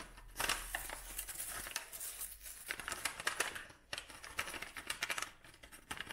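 A dried lavender bunch wrapped in brown kraft paper and tied with twine is crinkled and rubbed with fingertips and nails. The result is a steady stream of crisp, bright paper crackles and rustles, with sharp short snaps and almost no low end. There is a brief quieter pause just before the four-second mark.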